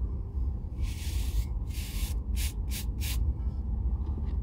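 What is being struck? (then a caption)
Oiled leather boot brushed with a bristle brush. An oiled leather Red Wing Weekender chukka boot, hollow and held in the hand, is brushed with a bristle shoe brush. The strokes come as bright, airy scrubbing bursts: two longer sweeps followed by quicker, shorter ones. A steady low rumble sits underneath throughout.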